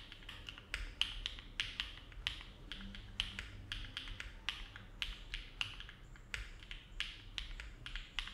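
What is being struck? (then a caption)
Mechanical keyboard with plastic keycaps. Both hands type steady fingertip key presses on a compact Neo70 mechanical keyboard with an aluminum case and plate, foam filling and ABS plastic keycaps, sitting on a desk mat. The typing gives a quick run of short, hollow, bright clacks with a sharp tone near 3 kHz, each dying away almost at once over a soft low rumble.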